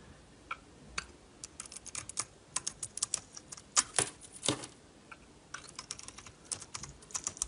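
A metal utility knife blade shaves a solid blue-coated bar of Duru soap with a purple inside, held in the hand. Dozens of short, crisp, dry scraping clicks with bright, high-pitched edges come in quick uneven bursts, each stopping instantly with no ring.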